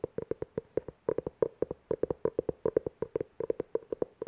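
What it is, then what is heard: Cloth-covered hardcover book. Fingernails quickly tap and scratch the cover and spine edge of a navy-blue, cloth-covered hardcover book held close. About 30 short, dry, hollow taps come in a rapid, uneven rhythm, each with a muted midrange knock near 460 Hz that dies away almost instantly, with no deep or high ring.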